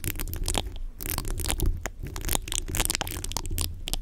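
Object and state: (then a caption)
Metal mesh microphone grille being scratched. Fingertips and short nails of both hands scratch and rub the bare, hollow, rounded metal mesh grille of a large condenser microphone. The result is a dense run of crackly, crunchy scraping bursts with bright high hiss. Underneath sits a heavy low rumble that dominates the sound.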